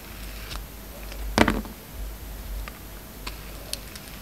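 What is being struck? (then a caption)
Bar of soap scraped with a steel blade. A hand-held solid rectangular bar of soap, with a red outer layer and a black-and-white striped core, is shaved and scraped with the steel blade of a yellow utility knife. Soft, dry scraping and faint ticks sit over a low steady hum. One louder, crisp shaving stroke stands out near the middle, followed by a few light clicks.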